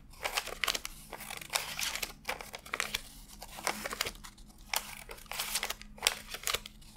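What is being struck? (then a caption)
Stack of paper banknotes. Fingertips flick and rub one by one through a fanned stack of thin cotton-paper $100 bills on a desk, counting them by hand. The result is a run of crisp, bright paper crinkles and quick snapping flicks in uneven bursts, with almost no low end.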